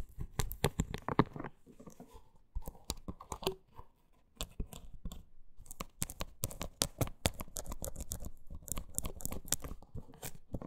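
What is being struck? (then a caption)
Silicone scalp brush. Long nails scratch and tap a hollow pink silicone scalp brush, working over both its smooth shell and its spiked base. Many quick, dry clicks and bursts of scratchy crackle come in fast irregular runs with brief gaps. The taps are mostly low and dull, with some bright edges, and each one dies away at once.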